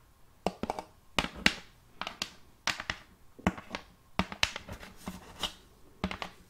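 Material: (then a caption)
Wood. A large, round, thin and solid wooden serving plate is held upright in one hand and tapped by the long painted acrylic nails of the other hand. Quick, bright clicking taps come in irregular clusters and flurries, each with a faint hollow body tone near 200 Hz and almost no ring. The taps are quiet and close.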